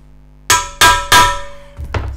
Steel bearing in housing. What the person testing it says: You can hear a different tone hammering it now. Sounds like metal on metal now, doesn't it?